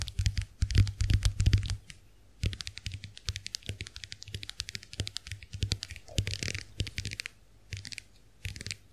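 Long acrylic nails tap the plastic backs of a small round white plastic clamshell hand mirror held open. Quick, dry clicks come in rapid bursts with short pauses between them, each tap crisp and bright with a soft low thump underneath and almost no ring.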